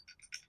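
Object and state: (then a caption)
Small bell ringing inside a hollow plastic figure. A hollow, translucent vinyl figure designed as a wind chime is shaken so the pink bell inside it rings. Four quick, bright, high-pitched tinkles are heard, each fading within a fraction of a second.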